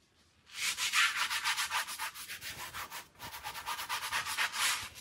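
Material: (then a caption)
Wool textile. A light-blue handheld scrub brush rubs the soap-foamed pile of a small fringed Persian pile rug, a wool-type woven textile lying on the floor, in sweeping strokes. The sound is a rapid run of bright, hissy bristle swishes, about four per second, with a brief pause just after the three-second mark. There is almost no low end.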